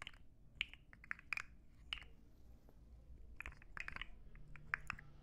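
A rainbow plastic articulated slug fidget toy, about 15–20 cm long and made of hollow interlocking plastic segments, is held in both hands and flexed and shaken. Its segments clack against each other in quick, dry, bright clicks that come in scattered bursts. A quiet low rumble sits underneath, and each click dies away almost instantly.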